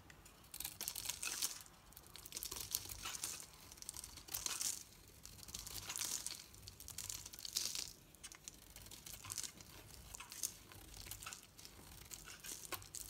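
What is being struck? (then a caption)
Solid bar of soap cut with a metal blade. A hand-sized solid bar of soap, painted dark with white dots outside and green inside, is held in one hand and shaved with a metal knife blade so green curls peel off. Each stroke gives a bright, crisp, crinkly scraping rasp, with soft gaps between the irregular passes.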